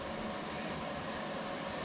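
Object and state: Nothing is struck.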